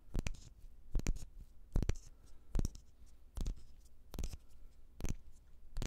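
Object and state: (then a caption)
Glass jar with lid. A small, empty clear glass jar with a black lid is held in both hands and tapped and scratched with the fingertips. Quick clusters of short, dry taps come in an uneven rhythm, each with a soft low thump and a bright click. Faint scratching fills the quiet gaps between them.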